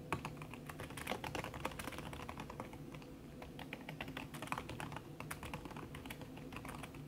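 Fast typing with fingertips and long red nails on a backlit aluminium laptop keyboard whose plastic keys sit under a red silicone skin. A dense, continuous stream of soft, muffled clicks and taps with short, quick-decaying transients, low thuds underneath and a little brightness on the sharper strokes. The pace stays steady and busy throughout.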